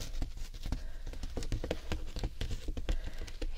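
A large hessian jute shopping bag with a painted owl design and white handles is held upright while long red-painted nails tap and scratch across its printed jute surface. A quick, uneven patter of short, dry taps mixes with coarse scratching, mostly low and muffled with little brightness. Each tap dies away almost instantly.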